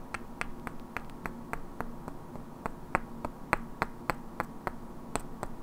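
Two identical hand-sized solid wooden cubes with black painted characters are held in both hands and knocked and clicked against each other, while long natural nails also tap their edges. The result is an uneven, fairly quick series of short, dry clicks with a hollow woody knock around 1 kHz and a bright crack, each dying out almost at once over a low, steady background.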